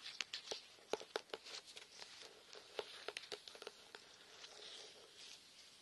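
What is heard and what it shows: A small out-of-print 1979 hardcover herbal-remedies book, *Country Remedies*, with a fairy on its slightly age-discolored paper dust jacket, is tapped repeatedly. The taps are quick, light and irregular, giving short, dry clicks with almost no ring and a bright, papery tone. They cluster at the start and middle and thin out toward the end.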